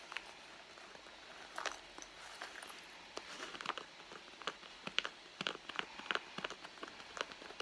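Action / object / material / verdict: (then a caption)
tap / soft leather handbag / leather / none. Long blue nails scratch and tap the soft leather near the seam of a hollow red leather handbag. Quiet, dry, bright scratching runs under a string of short, sharp taps and clicks with almost no low end. Each tap dies away almost instantly, and the taps come thicker toward the end.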